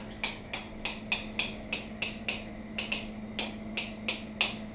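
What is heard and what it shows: Reusable plastic lids on pint canning jars are tapped one after another, giving 14 short, bright, clicky ticks with a high ring that dies away almost at once, over a steady low hum. The jars are still sealed and good seven months in.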